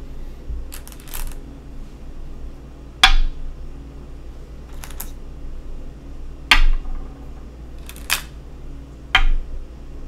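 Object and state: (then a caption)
Go stones placed on a wooden go board. Go stones are placed one at a time on a wooden go board, each producing a sharp, bright click with a brief ringing tail. Several separate clicks come at uneven intervals over a steady low background hum.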